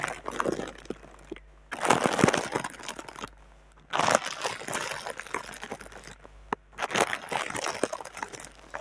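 Hands with long dark red nails rub and crinkle the top sheet of thin clear plastic air-cushion packing film with green logos, with the microphone lying on the plastic. Dense bursts of crackly, crumpling rustle come and go in waves, bright and crisp with little low end, separated by brief quieter gaps.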